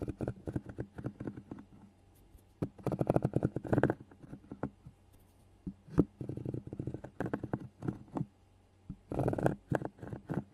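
A small solid piece of natural cork, held between fingers with long painted nails, is rubbed and scratched against the metal mesh grille of a handheld recorder. Close, dull scratching and rustling comes in quick bursts and clusters separated by short pauses, with a thumpy, low-heavy character and little brightness.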